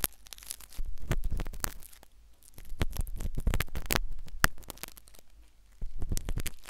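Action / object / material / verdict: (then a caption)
scrape / silicone ear replica of a microphone scraped by a metal needle / silicone / none. A metal syringe needle, inserted from the left, scratches inside the ear canal of a solid, white, soft silicone ear replica on a binaural microphone. Close, muffled scraping and rubbing come in bursts with sharp, bright clicks and crackles. A deep low rumble underlies them, with quieter gaps between passes.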